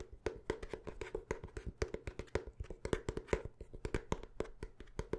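Fast tapping on the cover and pages of a paper notebook gives a dense run of short, dry taps with a woody knock, each dying away almost at once. The taps carry a steady hollow tone around 430 Hz and a soft low thud, with little high-end brightness.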